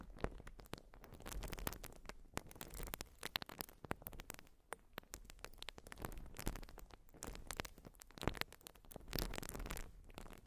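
A rectangular white urethane foam sponge is scratched with long glossy nails, giving a dense run of quiet, dry scratching and crackling ticks. The clicks are sharp and short over a low, soft rustle, coming in waves that swell and fade through the clip.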